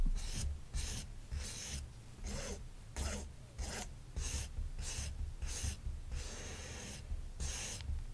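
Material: Felt.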